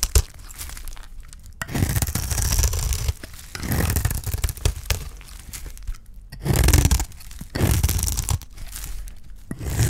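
A utility knife blade scrapes across the face of a solid bar of dry green soap, carving off shavings. The clip is a run of gritty, crunchy scraping strokes, each with a dull low body and a bright rasping edge, separated by short pauses.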